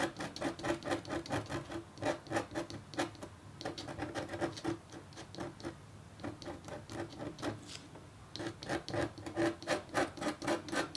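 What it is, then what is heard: Copper foil scratch art board being scratched. A red-handled stylus with a metal tip, held in the fingertips, makes repeated short scratching strokes across a flat black-coated copper foil scratch art sheet lying on a table and partly covered by white paper. The strokes come as quick, bright, raspy bursts, about four per second, with a faint steady tone around 340 Hz, and they thin out into quieter, sparser scraping in the middle before picking back up.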